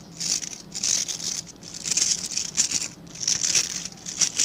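Fingertips and nails scratch the dense dark synthetic bristles of a hand-sized scrub brush with a plastic back. The sound is a bright, crinkly, hissing scratch that rises and falls in overlapping bursts, almost entirely high-pitched, with no low end. The strokes stop short with no ring afterward.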